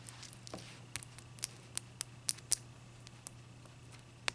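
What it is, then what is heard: Clear ice block. Long nails tap and scratch the sides and top of one solid, clear ice cube, which is held up and then set on a white towel. The result is quiet, irregular, sharp, bright clicks and brief scratchy ticks that die away at once, over a faint, steady low hum.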